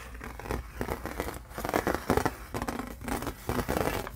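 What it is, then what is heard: Aluminum license plate. Fingertips tap and fingernails scratch the raised lettering on a thin embossed aluminum license plate, its silver side facing out. Dry, scratchy rasps mix with dull, clustered taps that die away almost at once, with a faint low tone around 250 Hz and little high-end sparkle.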